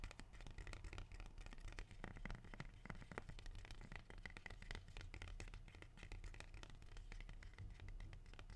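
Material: Leaf.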